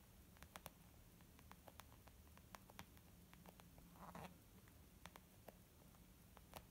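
A white, textured leather zip makeup bag, flat and hollow, is tapped with the long painted nails and fingertips of both hands. Quiet, irregular taps sound as short, crisp clicks over a steady low hum, with a brief soft rustling burst around the four-second mark.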